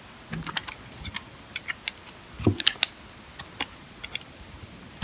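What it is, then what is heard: Dry sulfur soap bar scraped with a blade. A metal box-cutter blade scrapes across the face of a solid, dry, old green sulfur soap bar held in the hand, peeling off thin curls. About sixteen short, crisp, bright scraping clicks are heard at irregular intervals, with a slightly heavier grainy scrape in the middle, over quiet background hiss.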